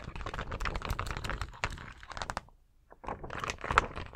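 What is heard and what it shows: Fingertips and nails tap and scratch across a large, thin plastic sheet of colored acrylic rhinestone stickers. Dense, crisp clicks and scratchy rustles come in quick bursts with a dull low thump beneath them. The sound pauses for about half a second, then starts again, ending with a sharper tap.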